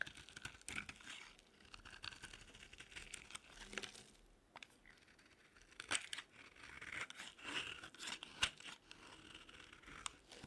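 A metal blade cuts and scrapes flakes from the top edge of a solid, dry pink bar of soap held in the palm. It makes quiet, dry, crisp crunching and crackling scrapes that are bright, with quick clicky snaps and almost no low end.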